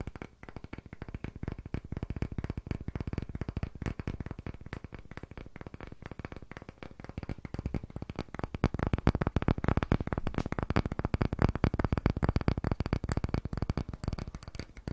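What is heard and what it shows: A solid, palm-sized, light pale wooden disc-shaped block, held in both hands close to a condenser microphone, is tapped and scratched rapidly with short fingernails and fingertips. The result is a dense, irregular stream of quick, dull, low-heavy taps with almost no ring, mixed with soft scratching, growing louder and busier in the second half.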